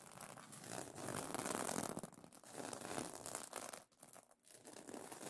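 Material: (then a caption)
Plastic. Nails and fingertips scratch and brush across the iridescent plastic sequin fabric of a pillow cover, making a dense, bright, crinkly rustle. The scratching swells and fades in waves, with two brief near-silent gaps before resuming.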